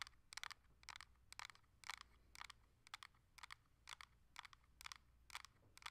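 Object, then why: Hard plastic handheld game console. Long acrylic nails tap on the back and front of a coral Nintendo Switch Lite, a solid handheld game console with a hard plastic shell and glass screen. The result is quiet, bright, clicky taps that ring very briefly. They come in irregular bursts, often in quick clusters, over a faint low hum.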